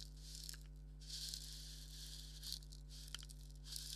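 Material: Leather.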